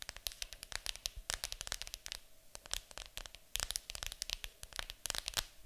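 Long acrylic nails rapidly tap and scratch a large, hollow, printed cardboard board game box lying flat on a table. The result is a quick run of sharp, bright clicks and dry scratching, crisp and high-pitched, with little low end and almost no ring after each hit.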